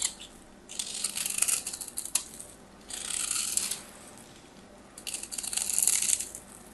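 A solid white textured bar of soap, held in the hand, is scraped and carved with a metal craft knife, shaving off powdery crumbs. Three bursts of crisp, bright scraping and crackling are heard, with quiet pauses between them.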